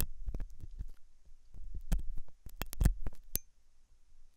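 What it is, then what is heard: Silicone ear scraped with metal tool. A hooked metal dental tool scratches inside the ear canal of a white translucent silicone ear model of soft solid rubber, likely fitted on a binaural ear microphone. Close, deep rumbling scrapes and thuds come in short bursts, with a few sharper bright clicks. The sound is muffled and low-heavy and dies away quickly.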